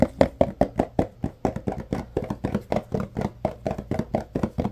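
Fingertips tap and knock on the faces of a tall, yellow Arm & Hammer carpet deodorizer powder paperboard box. There are 27 quick, dry, hollow knocks in a steady rhythm, each with a papery mid tone around 550 Hz and almost no ring.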